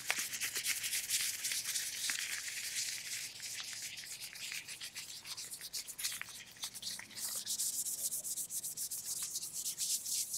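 Tight black latex gloves on both hands are rubbed together fingers against palms and stretched over the hands. The result is a fast, continuous stream of bright, crackling squeaks and rubbing with almost no low end.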